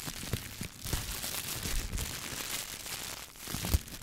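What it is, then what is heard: Plastic shower cap. A clear, thin plastic shower cap is bunched and rubbed between the fingertips, then held up by the edge and shaken. The result is a steady, bright crinkling and rustling with a few sharper crackles mixed in.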